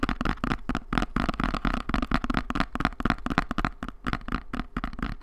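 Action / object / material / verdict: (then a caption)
tap / small cardboard box / cardboard / none. A small, hollow, brown kraft cardboard box is held in both hands and tapped and scratched with long nails. A quick, uneven run of dry, papery taps and scratches has a hollow low thump under each one. Each sound dies away almost at once.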